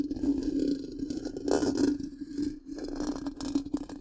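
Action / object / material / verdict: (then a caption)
scrape / metal mesh microphone grille / metal mesh / none. Long pink-painted nails of both hands scratch the black, round, hollow metal mesh grille of a large microphone. The result is a continuous, scratchy, rustling scrape over a steady low hum near 300 Hz, with louder bursts of bright scraping swelling in and out.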